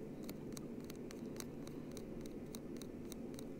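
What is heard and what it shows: A round hard-plastic Lego plate with studs, held in the fingers, is scratched with fingernails. It gives a quick series of short, crisp scratches and clicks over a steady low hum.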